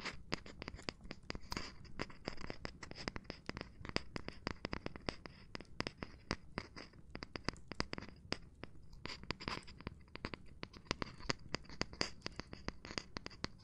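Gloved hands tap and scratch across a cork surface in a steady stream of quick, dry taps. Between them runs a soft, gritty rubbing with a faint high hiss, and each tap dies away almost instantly.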